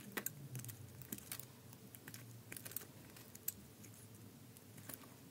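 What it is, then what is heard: Bar soap being shaved. A thin remaining piece of solid green bar soap is held in the hand while a utility knife blade shaves slices off it. The clip is a quiet run of short, crisp, bright scraping clicks and snaps over a low, soft rumble. Each click dies away almost instantly.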